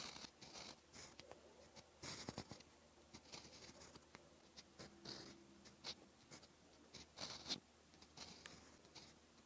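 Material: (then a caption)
Paper. A steel fountain pen nib, held in the fingers, writes in orange ink on a flat, cream lined notebook page. It makes a quiet, bright, scratchy sound in short bursts of strokes with brief pauses, and a faint tone appears around the middle.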